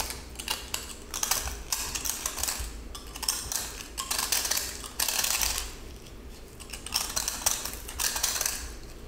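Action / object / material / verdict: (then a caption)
scrape / pressed salt block / salt / none. A yellow utility knife blade repeatedly scrapes and cuts into the crumbly surface of a small, solid, glitter-coated pressed salt cylinder held in the hand. It produces bursts of bright, gritty, crunchy scraping with quick, dry decay, separated by brief quieter pauses.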